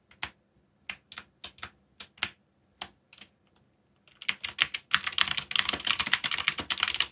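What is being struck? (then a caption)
Plastic mechanical keyboard. Fingertips tap the keys of a backlit black plastic mechanical keyboard while typing. Sharp, bright clicks come one at a time with pauses between them, then speed up into a dense, continuous run of quick keystrokes. Each click is short and dry with almost no low end.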